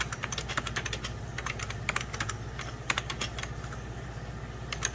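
Fingertips and short nails type rapidly on a full-size 90s Packard Bell keyboard, its beige plastic keys set over a hollow plastic case. A steady stream of short, bright plastic clicks and taps, centered around 2.2 kHz, rings out over a constant low hum.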